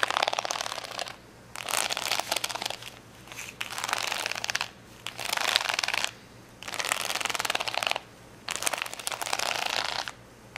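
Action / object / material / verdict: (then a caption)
scrape / acrylic rhinestone sticker sheet / acrylic plastic / none. Long fingernails scratch across a large plastic rhinestone sticker sheet of rainbow acrylic gems lying flat. Six bursts of bright, crisp, crinkly scratching are separated by short pauses, over a faint low hum.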